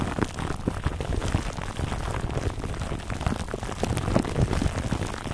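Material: Plastic film.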